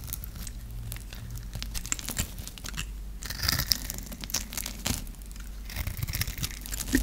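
A dry, hand-held blue and white striped bar of soap is scraped and carved with a metal knife blade. The clip is a run of crisp, crackling scrapes and crunches with short bright transients and a low background rumble. It grows louder in bursts toward the middle and the end.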